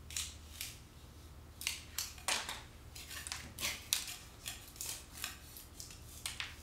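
Thick cream paint peeling off a solid concrete wall is scraped with a metal scraper blade and lifted with fingertips and long dark-painted nails. A series of short, bright, crackly scraping and flaking bursts sounds over a faint low hum, each dying away quickly.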